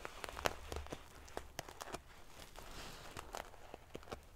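Fingernails scratch and ruffle the rows of silver metal pieces covering a large padded metal-sequin fabric pillow. Quick, bright, prickly clicks and ticks rise over a soft, continuous metallic rustle, with a faint low hum underneath.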